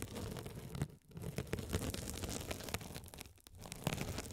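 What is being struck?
Mesh-covered foam sponge scratched by a metal spiked roller.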